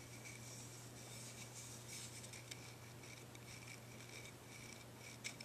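Fingernails scratch the pale cut end and the body of a thick, solid deer antler dog chew. The result is a quiet, continuous dry rasping with bright, airy texture and a couple of sharper clicks, over a steady low hum.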